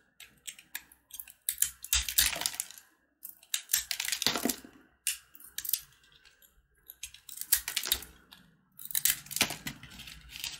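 A blue box-cutter blade carves and scratches pieces off a solid yellow corn-kernel jaggery candy bar, a brittle made with corn kernels. Bright, crisp scraping and crunching comes in short irregular bursts separated by brief quiet gaps, with little low-end body.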